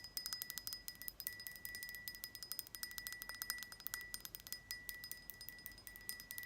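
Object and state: Glass jar lid.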